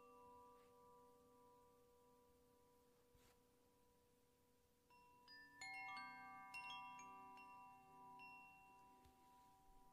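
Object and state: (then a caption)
Bamboo koshi wind chime. A medium-sized bamboo koshi wind chime, a hollow bamboo tube hung from a cord held in one hand, is shaken so the rods inside ring against each other. Soft, sustained tones linger at first, then a cluster of bright, overlapping chime notes centered near 2.7 kHz rings out about halfway through. The notes decay slowly, leaving a shimmering ring.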